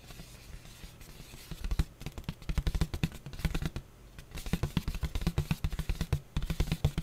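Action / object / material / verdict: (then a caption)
scrape / disposable paper plate / paper / none. Fingertips and nails scratch and rub a thin, flat, white printed disposable paper plate, making dense bursts of short, dry scraping clicks. The sound is mostly low-heavy thumps with brief bright edges. The activity comes in two busy stretches separated by a quieter pause near the middle.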